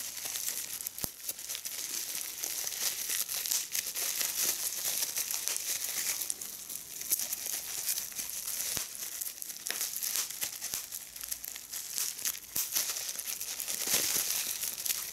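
A small piece of clear plastic bubble wrap is held in both hands while fingertips and long red-painted nails pinch, crinkle and pop the bubbles, with a larger sheet lying still beside it. Steady, bright crinkling runs throughout, broken by sharp snapping pops, with almost no low end.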